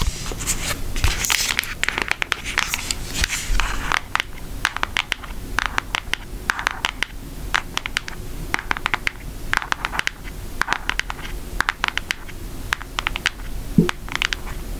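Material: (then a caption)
Cardboard. Long acrylic nails tap on the back of a brown Hershey cardboard eyeshadow palette, giving a fast run of short, dry clicks with bright, crisp tops. The taps come in irregular clusters over a soft low rumble, and each one stops almost at once.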